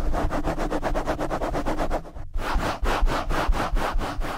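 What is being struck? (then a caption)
Foam microphone windscreen rubbed by nylon mesh gloves. Nylon mesh scrub gloves cover the top and sides of a black foam windscreen on a blue microphone and rub it fast and hard. A steady series of rough, scratchy rubbing strokes sweeps up and down with a deep low rumble underneath, with a brief break near the middle before the rubbing resumes.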